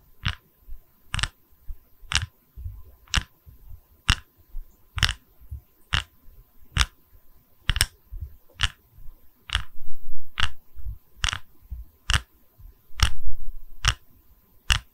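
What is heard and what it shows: A small, solid round wooden log slice coaster with visible growth rings is held in both hands while long red nails tap and scratch its cut face. A steady series of sharp, bright, dry taps with almost no ring sounds over a low, soft scratching and rubbing texture that swells louder in places.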